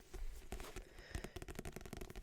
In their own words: And as you can hear, it makes some really nice soft tapping sounds of this book, because it's a paperback book with a nice matte cover, so nothing too loud